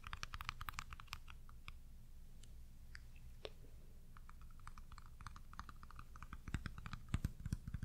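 A small round white plastic pudding cup with a lid, its contents not visible, is held in the hand and tapped and scratched with long pink nails. Quick, irregular, bright clicks and short scratchy ticks sound over a steady low hum. The tapping grows a little louder and denser near the end.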